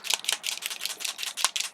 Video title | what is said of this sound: Christmas Labels with Cricut Chalkboard Vinyl & Chalk Ola Chalk Markers | shake it till you hear the ball. The ball's mixing the ink.